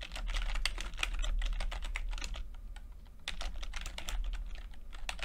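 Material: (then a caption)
Plastic. Fingertips of both hands type continuously on a full-size plastic computer keyboard with red and blue backlit keys and low-profile keycaps. The result is a rapid, steady stream of short, bright tapping clicks over a constant low hum, softening briefly near the middle before picking back up.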